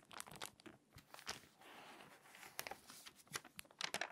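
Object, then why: Glossy paper magazine. An open glossy paper magazine lies flat on a table while fingertips with long nails turn its pages and smooth or crease them along the spine. The result is quiet, bright crinkling and crisp rustling bursts, with a softer sustained swish of paper sliding in the middle.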